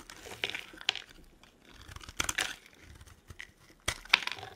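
A metal blade carves and scrapes ridged shavings off a solid, dry, pale green soap bar held in the palm. The result is a series of short, dry, bright crinkling scrapes and crunches separated by quiet gaps, with almost no low end and no ring.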